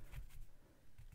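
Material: Nothing is struck.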